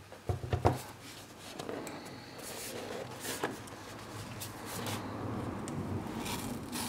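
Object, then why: Small cardboard box. A small rectangular cardboard retail box holding a Sonos Roam speaker is held in both hands, turned, and rubbed with the fingertips while a black tab is picked and peeled. A cluster of sharp, low-weighted taps opens the clip. Soft, continuous scratching and sliding follows as the fingers move along the cardboard surfaces and edges.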